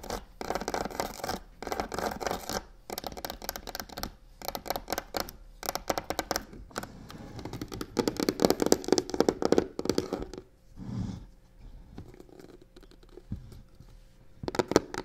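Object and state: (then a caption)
Faux crocodile leather box. A hollow box covered in black embossed crocodile-texture faux leather is tapped and scratched on its side with long nails. Dense bursts of rough, bright scratching alternate with quick dry taps, with a few short pauses in between.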